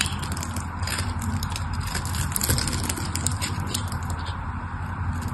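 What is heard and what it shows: A solid mauve patterned purple bar soap is held in the hand while a craft knife scores a grid and shaves cubes off its face. Steady, dense scraping with bright crackles and small clicks runs throughout over a low, constant hum.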